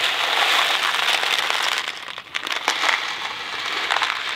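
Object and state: Cardboard box of dry macaroni being shaken.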